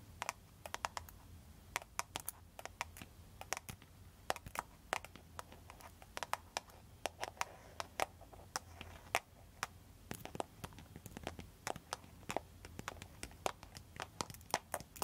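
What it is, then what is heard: Plastic phone case tapped with nails. Long, pointed, foil-covered nail tips rapidly tap a solid, clear plastic cartoon-print case on the back of a smartphone. The result is a quick, irregular stream of sharp, dry, bright clicks that die out almost instantly over a faint low background hum.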